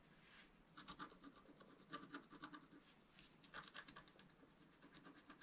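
A pointed wooden stylus scratches near the bottom of a thin, black, wax-coated scratch-art paper sheet that is flat and solid and held in one hand. Quick, bright, rasping strokes come in two clustered bursts, separated by quieter, faint scraping.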